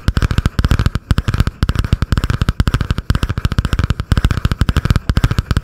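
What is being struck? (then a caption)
Cardboard-covered spiral notebook. Long painted nails rapidly tap and scratch a butterfly-print spiral notebook with a cardboard cover, held above the microphone. Fast bursts of short, dull, bass-heavy knocks come in clusters with brief pauses between them, and a faint scratchy layer sits on top.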